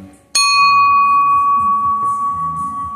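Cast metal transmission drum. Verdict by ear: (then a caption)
Good casting. A single hammer strike on an empty Ford C4 transmission forward drum, hung on a rod clamped in a vise, rings out like a bell. It has a clear tone near 1.1 kHz that sustains for over two seconds. The bright ring marks a good casting, unlike poorer castings, generally C5 drums, that give only a dull thud.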